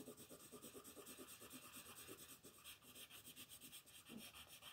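A yellow wooden colored pencil scratches and rubs across a flat sheet of white paper printed with a monkey, lying on a table, in short coloring strokes while the other hand rests on the sheet. A steady, quiet papery scratching pulses with each stroke, bright and hissy with a soft low rasp underneath.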